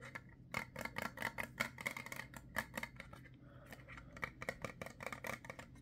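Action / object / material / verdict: tap / small plastic ointment tube / plastic / none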